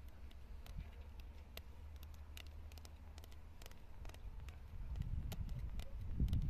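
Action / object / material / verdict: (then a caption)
tap / concrete block / concrete / none. Long nails tap and scratch the rough surface of a weathered grey concrete block with a hollow cavity, set among plants outdoors. Quick, sharp, irregular clicks sit over a steady low rumble that grows louder toward the end.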